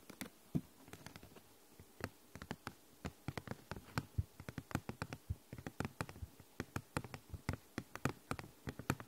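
Long nails tap and scratch a thin, translucent purple plastic envelope folder with a snap button, hollow and apparently empty. About 40 quiet, short, dry clicks come in an uneven patter, each with a low body and a bright tick, alongside faint scratching between them.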